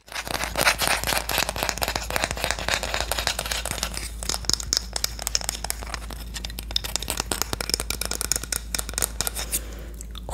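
A Korean wooden spoon is tapped and scratched in a rapid, continuous run of crisp, dry clicks and scraping rasps. The sound is bright and high-pitched, with no ring after each hit, over a steady low hum.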